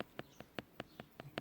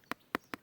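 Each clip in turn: First: fake plastic shoe plate (imitation carbon). Second: genuine carbon fiber shoe plate.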